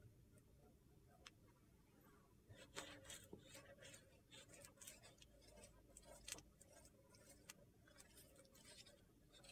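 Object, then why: Large slab of solid soap. A large, flat, rectangular slab of solid soap with a rainbow-coloured surface is scratched and rubbed by a hand with long painted fingernails. The result is quiet, crisp, high-pitched scratching in bursts, with sharp little clicks over a low background hum.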